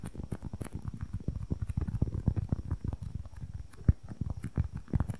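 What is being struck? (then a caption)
Polyurethane foam squishy toy. Long nails tap and scratch fast on a small, soft, solid white and red polyurethane foam squishy toy held close to the mic. The result is a dense patter of muffled, low thuds with faint scratchy ticks. One sharper tap stands out near the end.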